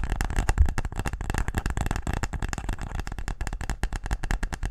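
A wooden tic-tac-toe case is tapped quickly and aggressively, producing a dense, continuous run of short, dull knocks. The taps are low and hollow with very little ring, each dying away almost at once.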